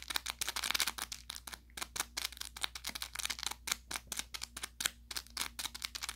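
An orange velour plush carrot cat toy, soft and stuffed with crinkle filling, is squeezed and scratched with fingertips and short nails. It gives rapid bursts of bright, dry crinkling and crackling that snap off instantly, with almost no low end beyond a faint steady hum underneath.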